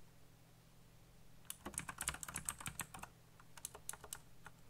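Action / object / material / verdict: tap / mechanical computer keyboard with plastic keycaps / plastic / none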